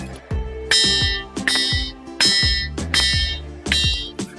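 A ringing stone, the Jhalariyo rock on a hill near Kariyana village, is struck repeatedly and answers each blow with a bright, metallic, bell-like tone, unlike the dull sound of an ordinary stone. About eight strikes are heard at an uneven pace, each one ringing out and fading over roughly half a second, while music plays steadily underneath.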